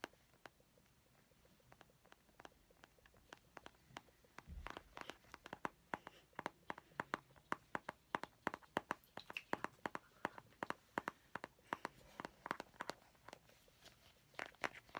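A small, round, hollow Ice Breakers plastic mint container, held in both hands, is tapped and scratched with painted fingernails. Quiet, sharp plastic clicks start sparse, then turn into a steady, brisk run of bright taps after a soft low bump near the five-second mark. Each click dies away almost instantly.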